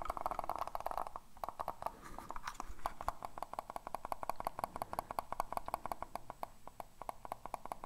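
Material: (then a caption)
Plastic. A hollow black plastic computer mouse is held in the hands and tapped and scratched with fingernails. A dense run of quick, dry clicks and taps with a hollow mid-range tone comes first, then a soft scratchy rustle, and then steady, rapid ticking. Each tap dies away almost at once.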